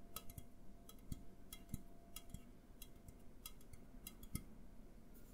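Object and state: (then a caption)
Aluminum drink can, tapped. An A&W aluminum drink can is tapped with the fingertips, first while standing upright and then while tilted in the hands. Quiet, rapid taps come as dull low thuds with brief bright metallic ticks, each dying away almost at once.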